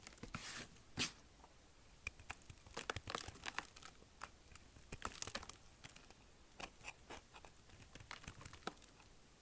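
A small knife scrapes and shaves the edges of a solid, dry, hard green soap bar, now carved down and held in one hand. The clip is a quiet run of short, crisp, crackly scraping strokes with bright, papery shaving bursts and almost no ring between them.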